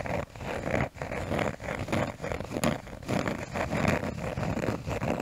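A cork surface is tapped and scratched close to the microphone as an ASMR trigger. It makes a dense, continuous scratchy rustle with soft tapping mixed in. The sound has brief quiet dips and its energy sits mostly in the low and middle range.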